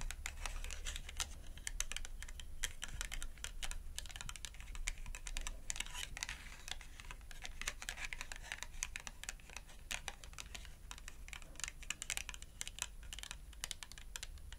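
Long acrylic nails rapidly tap the edge of a small, thin, flat cardboard shopping tag held edge-on between both hands. The result is a dense, continuous stream of crisp, dry clicks that sound much like fast typing on a keyboard, over a steady low hum.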